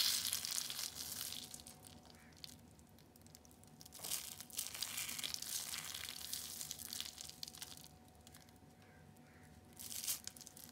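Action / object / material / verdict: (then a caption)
scrape / dried shredded soap curls / soap / none. Fist-sized green balls of dried, shredded soap strands are squeezed and crumbled with bare fingers. They give off dense, bright, dry crunching and crackling in bursts, with quieter gaps between handfuls and a faint steady tone underneath.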